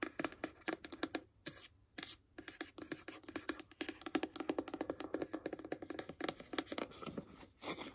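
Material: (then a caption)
Cardboard. Long acrylic nails scratch and tap along the side of a small, closed, hollow white paperboard iPhone box. The result is a rapid, uneven run of short, dry clicks and raspy scratches with a hollow, papery tone centered low-mid. The hits are bright-edged and die away almost instantly, with a few brief pauses between bursts.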